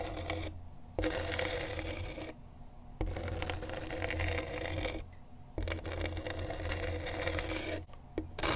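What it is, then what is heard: Skateboard grip tape being scratched. A pen tip held in a gloved hand scratches and traces across coarse, sandpaper-like grip tape on a skateboard deck. It makes a dense, gritty rasping that fills the low end through to the bright highs. The scraping comes in sustained strokes that cut off and restart abruptly, with quieter gaps between them.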